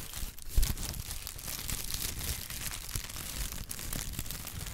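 A pad of brown honeycomb kraft paper wrap is crumpled and squeezed between the fingertips, giving a steady, dense crinkling and crackling with a bright papery rustle over soft low thumps. A brief louder crunch comes near the start before the texture settles into an even, continuous crackle.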